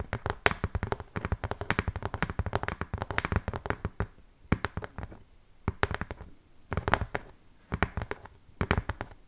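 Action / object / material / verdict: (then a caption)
tap / corrugated cardboard box / cardboard / none. Long painted fingernails scratch and tap along the edge and side of a large, hollow corrugated cardboard shipping box. Quick, dry clicking taps and scratches come in dense bursts separated by brief pauses, with a hollow, low-heavy thump and almost no ring after each hit.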